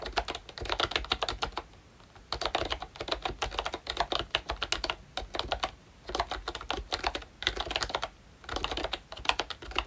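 Fingertips type on the round keycaps of a pink plastic ROYCHE Disney Mickey Mouse retro membrane keyboard with a hollow body. Bursts of quick, bright plastic clacks come in several runs separated by short pauses, each keystroke a short, crisp tap.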